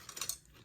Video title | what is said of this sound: BEST G1 Transformers Encore Metroplex Autobot City Chefatron Review | you'll notice that when you shake this gun you will hear that the spring is still there